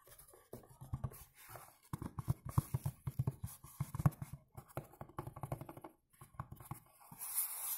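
Fingertips tap and scratch the front of a dark blue textured cardboard perfume box standing upright. Quick, dull, low thuds come in uneven bursts with soft scratchy rustling between them. A brighter, hissy scratch closes the clip.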